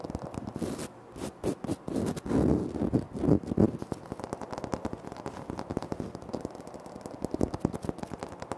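Bare fingertips and short nails tap and scratch the surface of a large, flat, solid grey-white speckled granite-like floor tile close to the recorder. Quick, irregular dry taps mix with crisp scratching that swells into louder scraping bursts in the first half. Each sound stops almost at once, with its energy in the low and mid range.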